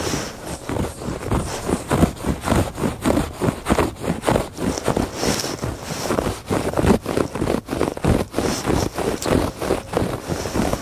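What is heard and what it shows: Fingertips and nails scratch back and forth across the textured surface of a woven fabric rug. Close, dense rasping strokes repeat in a loose, uneven rhythm, each a short burst of scratchy noise with a soft low thump underneath and a faint bright hiss on top.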